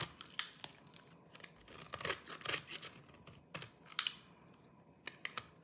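A small knife with a yellow-tan blade shaves and scrapes the surface of a hand-sized, dry green soap bar held in one hand, and crumbly flakes fall off. Bright, crisp scraping and crunching strokes repeat at irregular intervals with quick, dry decays and little low end.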